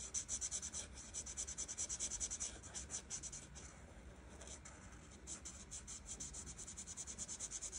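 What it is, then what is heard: Marker colouring on a paper page. A felt marker tip rubs rapidly back and forth across a flat paper coloring page, filling in orange flower petals. The strokes make a bright, papery scratching with a steady rhythmic pulse, easing briefly in the middle before resuming.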